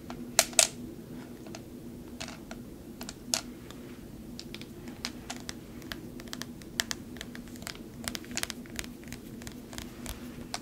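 Fingers stir clear glass marbles inside a partly filled glass vase or jar, and nails tap the jar as it is handled. Short, bright clicks and clinks scatter across the clip, with a few louder knocks early on, over a steady low hum.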